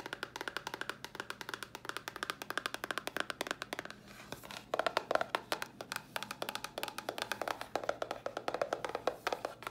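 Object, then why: Small cardboard box. Long nails rapidly tap and scratch a small, hollow white cardboard box, making a steady stream of dry, clicky hollow taps with almost no ring. The tapping briefly softens to a faint scratching pause around the four-second mark, then returns louder and denser.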